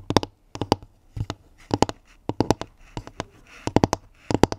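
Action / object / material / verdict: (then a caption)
tap / pine-wood basket lid / wood / none. Long nails tap on the round, flat pine-wood lid of a pink woven basket that is hollow beneath. About 20 quick, dry taps come in short bursts of two to four, each with a brief hollow, woody knock around 300 Hz that dies away almost at once.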